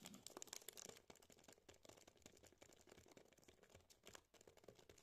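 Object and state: Plastic-wrapped chocolate turrón bar.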